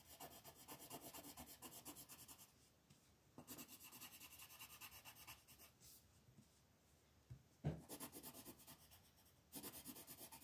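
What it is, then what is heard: Colored pencil on paper. A wooden brown colored pencil is rubbed in short, quick strokes across a flat paper coloring page on a table to fill small areas. The result is a soft, bright, scratchy rasping that comes in bursts, broken by quiet pauses and one sharp tap just before the final burst.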